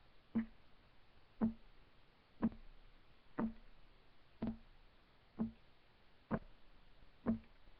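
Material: Wood.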